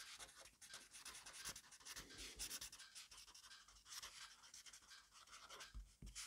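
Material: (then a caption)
Paper. A black pen writes rapidly on a fresh page of a grid-paper notebook resting on a desk. The pen tip scratches and rubs the paper in a dense, continuous stream of quick, bright, scratchy strokes with very little low end.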